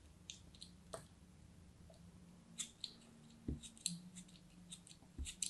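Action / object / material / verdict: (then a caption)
scrape / block of packed kinetic sand cut with a blade / sand / none. A craft knife blade slices repeatedly through a hand-held, solid piece of packed green kinetic sand. Each cut gives a short, crumbly crunch with bright, crisp crackles over a faint low hum.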